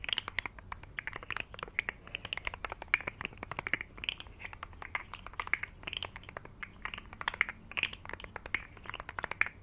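A rainbow, segmented plastic articulated fidget slug toy is held curled in both hands while fingertips bend and rub its segments. This produces a quiet, steady stream of rapid, dry, bright clicks and crinkly scratches, centered around 2 kHz, with no ringing after each click.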